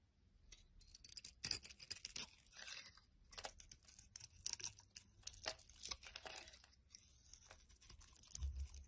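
A metal utility knife blade shaves and scrapes a solid blue bar of soap held in the hand, peeling off dry curls. Crisp, bright scraping rasps come in quick bursts with short pauses between strokes, each dying away almost at once.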